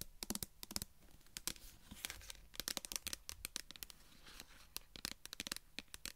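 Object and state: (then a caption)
Metal food tin. Long nails tap and scratch the pull-ring lid of a small, flat metal food tin. Sharp, bright clicks come in quick irregular bursts, mixed with brief scratchy rasps, over a quiet background. Each tap dies away almost at once, with no ringing.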